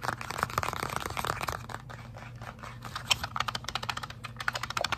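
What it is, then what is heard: Cardboard card box. A small printed cardboard box of Avengers-edition UNO cards, held close, is tapped and scratched quickly by fingertips and short painted nails. Dense, rapid clicks and dry scratching rasps run throughout, with bright crisp tap transients over a faint low hum.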